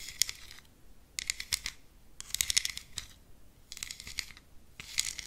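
Long green acrylic nails tap a small, flat, rectangular black plastic contour palette, a hollow compact case with embossed lettering on the lid, held in one hand close to the microphone. The tapping comes in five quick bursts of bright, sharp, dry clicks with almost no ring and little low end, separated by short quiet gaps.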